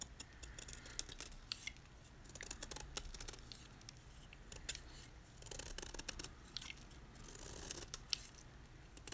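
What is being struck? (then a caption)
Block of magnesium carbonate gym chalk. A utility knife blade scrapes the surface of a solid white gym chalk block (magnesium carbonate) held in the hand, carving away layered flakes. The result is a quiet run of dry, bright scraping strokes and crisp crunchy ticks that stop dead with no ring, over a faint low rumble.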